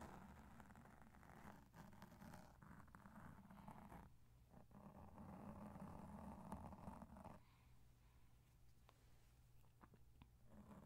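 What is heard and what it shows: Two cotton swabs, one in each hand, rub and brush across the soft, porous black foam windscreen covering a large microphone. The result is a quiet, continuous muffled rumble and scratchy swishing, heavy in the low end with little brightness, whose texture shifts as the strokes change over the clip.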